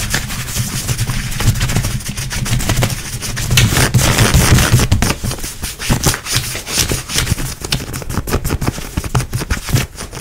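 Long nails and fingertips scratch fast along grey, stretchy nylon-spandex leggings worn on the leg, now and then gripping the fabric. The result is a dense, irregular stream of bright, crackly scrapes over a low, muffled rubbing rumble, swelling in the middle before settling back to steady rapid strokes.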